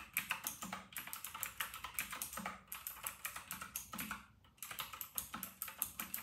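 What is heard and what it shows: Fingertips of both hands type fast on a full-size white RK960 plastic mechanical keyboard with round retro plastic keycaps. The result is a rapid, steady stream of sharp, bright clacks with almost no ring, broken by a brief pause just past the four-second mark before the typing resumes.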